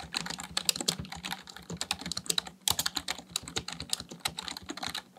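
Fingertips type steadily on a full-size black plastic computer keyboard, producing a rapid, uneven stream of short, dry, bright key clicks with a brief pause near the middle. Each keystroke dies away almost instantly, and a faint low hum sits beneath the clatter.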